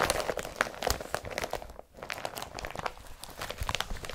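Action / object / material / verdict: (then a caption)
scrape / woven polypropylene carrier bag / polypropylene / none. Hands crumple and rub the folds of an empty blue woven polypropylene IKEA BRATTBY carrier bag. A dense stream of dry, bright crinkles and crackles fills the clip, easing into a brief near-silence just before the two-second mark before the rustling picks up again.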